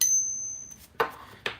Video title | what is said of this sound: Silver Coins and UFC Fights! | it just hurts your ears it sounds like a whiny mosquito